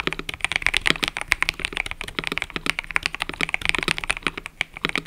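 Fingertips type continuously on a mechanical keyboard with cream and purple plastic keycaps. The result is a fast, steady stream of short, bright clacks centered around 2 kHz, each dying away almost instantly, with very little low end.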